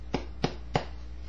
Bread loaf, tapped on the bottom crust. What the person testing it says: tap the bottom and see if it sounds Hollow